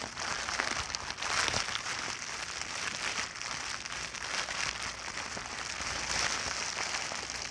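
A large clear plastic bubble wrap sheet resting on a blanket is squeezed and crinkled with fingertips and long dark nails. The result is a steady, bright, hissy crinkling with scattered sharp crackles, mostly high in pitch with almost no low end.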